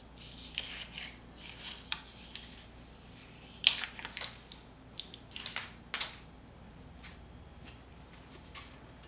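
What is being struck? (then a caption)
Paint layer on concrete wall, metal scraper. A metal putty scraper scrapes a thick layer of peeling paint off a solid concrete wall in a series of short, dry, bright scratching bursts. The scrapes are separated by brief pauses over a faint, steady low hum, and the paint comes away from the wall.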